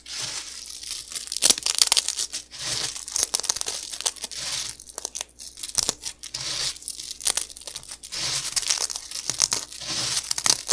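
Both hands break and crush small, dry, crispy puffed cereal pillows between the fingertips above a pile of crumbled fragments. Dense, bright crackling and tearing crunches come in rapid bursts, with short quieter gaps between handfuls and almost no low end.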